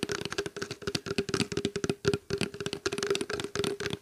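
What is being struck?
Small plastic water bottle.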